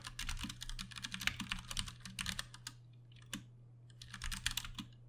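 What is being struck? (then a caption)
Plastic mechanical keyboard keys. Both hands type fast with the fingertips on a Ducky One 2 Mini, a compact 60% RGB-backlit mechanical keyboard with plastic keycaps and Cherry MX Brown switches, resting on a desk. Quick bright clacks with short, dry decay tumble out in dense bursts, pause briefly near the middle, then resume. A steady low hum sits underneath throughout.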